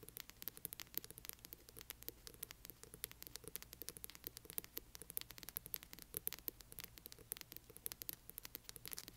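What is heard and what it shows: Long fingernails of both hands rapidly scratch the spine of a large hardcover book. Quiet, dense, crisp scratching ticks follow in quick succession, bright and papery, over a faint low steady hum.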